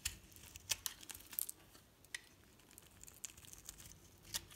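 A metal blade cuts and scrapes layered shavings off a solid green soap bar with pink edges held in the hand. Quiet, bright, crisp crackling and scraping sounds come in irregular short bursts. A few sharper cuts stand out over a soft, steady rustle.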